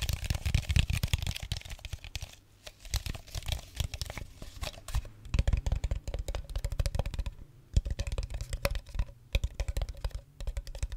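Fingertips and nails tap and crinkle an empty-looking clear plastic water bottle with a red cap, held close to the microphone. Rapid, dense clicks and crackly crinkles come in busy bursts with brief lulls, carrying a heavy low thump under bright, dry ticks that stop almost instantly.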